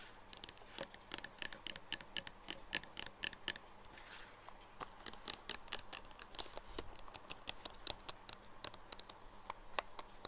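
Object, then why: Plastic nail polish remover bottle with plastic cap. Fingernails and fingertips tap the body and black plastic cap of a clear plastic nail polish remover bottle, full of pink liquid and lying on a wooden table. The result is a steady, uneven patter of quick, dry clicks with a bright, high edge and almost no ring. Softer rustling fills the gaps between taps.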